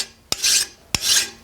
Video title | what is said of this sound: Dirty Smith ep 31 Part 2: Forging and Heat treating a cold chisel | It's taking away more material. Even on the flat, you hear that different tone.